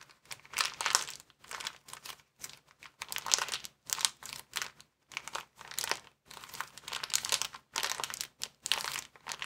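A small, empty white plastic bag is bunched in both hands while the fingers squeeze and crinkle it. Bursts of bright, crackling crinkles come one after another, separated by brief pauses of near silence. There is no low rumble.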